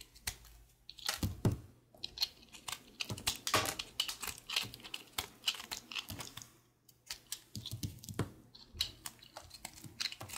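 A small, solid, pale green soap bar held in the fingers is scraped and shaved with a utility knife blade. It makes a quick run of crisp, bright scratching and ticking strokes, with a short quiet gap about two-thirds of the way through before the shaving resumes.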